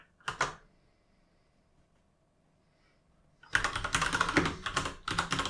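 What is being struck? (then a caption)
Mechanical keyboard with plastic keycaps. Fingertips type on a full-size mechanical gaming keyboard with plastic keycaps. Two sharp, bright clacks open the clip, followed by about three seconds of near silence. A dense, uneven run of rapid clicky keystrokes then fills the last two seconds.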